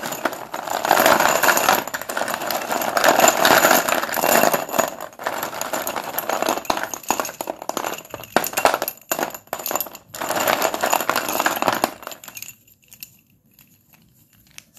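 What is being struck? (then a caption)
Chalk sticks in a plastic bowl. Fingers lift, drop and stir many solid Sundeep dustless pure white chalk sticks in a blue plastic bowl, making them clatter together. Dense, rapid, irregular clicking and clinking with a mid-range character continues for about twelve seconds, thinning into sparser separate clacks around the middle. The sound then stops, leaving near silence.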